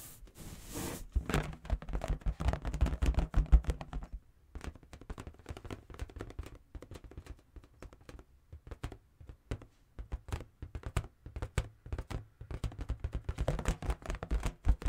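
A large inflated latex balloon, hollow and held in one hand, is tapped with the fingertips. It gives a steady stream of soft, deep, thunky taps with almost no ring, coming in uneven clusters. A brief pause falls just after the first four seconds.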